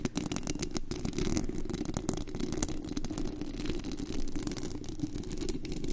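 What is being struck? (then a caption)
Metal mesh microphone grille. Long green-black acrylic nails scratch and tap the white-painted metal mesh grille of a large, hollow condenser microphone with a glittery body. A dense, continuous rasping scrape with quick overlapping taps booms low and muffled, with a steady hum-like band in the low mids. There are almost no bright highs.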